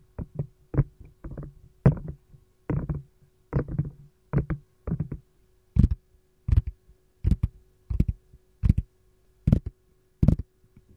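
Long gold nails knock and tap an empty green silicone lime-slice ice cube tray, first on its compartment side and then on its domed back. Dull, low, muffled thuds come in quick little clusters at first, then give way to single, sharper, brighter taps evenly spaced. Each hit dies almost instantly, over a faint steady hum.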